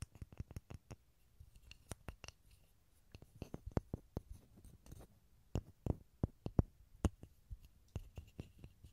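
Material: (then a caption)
Pine wood. A small solid pine block, held in both hands over a stereo recorder, is tapped and scratched with fingertips and short nails. The result is a quiet, irregular string of short, dry wooden taps with a low thump and bright clicky edges, mixed with soft scratching between them.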